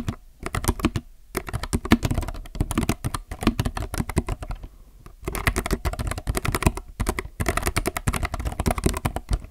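Both hands type with their fingertips on a compact mechanical keyboard with plastic keycaps, producing fast runs of short, dry clacks. The clacks have a full low body and little brightness, with brief pauses between bursts and a longer gap near the middle.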